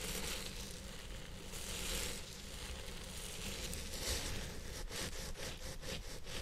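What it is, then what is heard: Synthetic hair wig being scratched. A long purple synthetic-fibre wig, possibly on a hidden head-shaped mount or microphone, is scratched and massaged with the fingertips and nails of both hands. The result is a dense, continuous crackling rustle over a steady low rumble, with brighter swells of scratching around the two- and four-second marks and sharper, quick scrapes toward the end.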